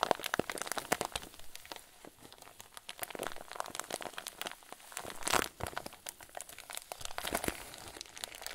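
A clear zip-lock plastic bag full of white fluffy stuffing is squeezed and crinkled with both hands, giving a steady run of soft, dry crinkles and crackles. The sharp, bright snaps are dense and closely spaced, with a louder burst of crunching around the middle and no ringing after each one.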